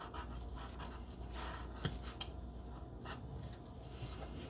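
A wooden pencil tip scratches across a flat pink cardstock heart resting on dark fabric, held in place by a long-nailed finger. A soft, continuous papery scratching of writing is heard over a low hum, with a couple of brief, sharper ticks as the pencil catches mid-stroke.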